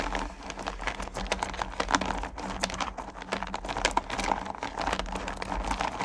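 Two hands with long painted nails dig into and stir a pile of small, solid candy corn pumpkins in a purple plastic bucket. The candies give a dense, continuous clatter of bright clicks and crinkly rattles over a steady low hum.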